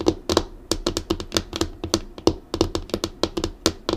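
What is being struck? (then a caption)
Laminated wooden desktop. Long acrylic nails on both hands drum quickly on the solid, flat black tabletop of a laminated wooden desk. Twenty-one sharp, dry clicking taps follow one another in an uneven run over four seconds. Each tap carries a short woody knock around 340 Hz and a bright click that dies away almost at once.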